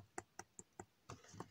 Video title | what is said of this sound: ToyBiz Marvel Legends Series VI Mr. Fantastic - A Chewy Mew Review! | this here is not any uh it's just a hollow plastic like you can hear